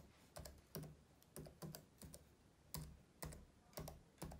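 Index and middle fingertips tap rapidly on the keys of a black plastic laptop keyboard. Soft, muffled clicks with a low thump and brief high tick come in short, uneven bursts over a quiet background.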